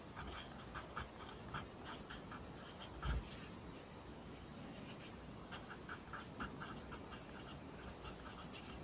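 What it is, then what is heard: Pencil writing on a paper notebook. A pencil writes Korean handwriting on an open lined paper notebook, its graphite scratching the paper. Quiet, steady scratching is broken by short, bright strokes, with a brief low thump near the middle.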